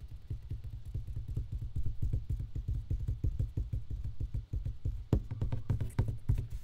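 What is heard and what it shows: An empty box is tapped in a quick, steady series of soft, hollow, low thuds that die away almost instantly. Around the five-second mark, a few sharper, brighter taps stand out among them.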